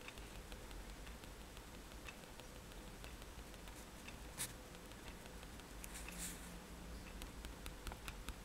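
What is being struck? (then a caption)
Paper sketchbook sheet tapped with a metal pen tip. The metal tip of a fine-liner pen taps repeatedly on a white paper page of a spiral sketchbook lying flat on a table, stippling dots. Quiet, soft, bright ticks repeat over a steady low background hum, with one louder tap and a brief brighter rustle partway through.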